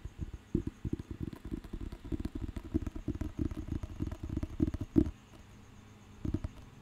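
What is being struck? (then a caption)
Thick paper dictionary. Fingertips scratch the cover and tap the page edge of a thick, solid paper dictionary book, making a quick run of dull, low, muffled taps and scuffs with almost no ring. The tapping is busiest in the first five seconds, falls quiet for about a second, then ends with a short final flurry.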